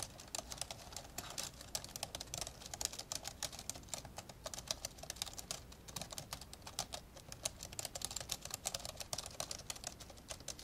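Both hands type fast on the plastic keys of an open, old dark grey plastic laptop, with a microphone hanging untouched above it. A steady stream of rapid, bright, clicky taps keeps up throughout, each tap short and dry with almost no ring, over a faint low background.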